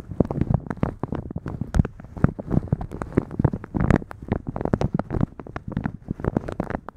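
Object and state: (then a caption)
Plastic shower cap crinkled over a microphone. Fingertips and long nails of both hands rub, scratch and crinkle a thin, translucent plastic shower cap with blue polka dots, stretched soft, hollow and empty over a microphone. The result is a dense, continuous run of close, muffled crinkling and scratching bursts, heavy in the low end with brief brighter crackles.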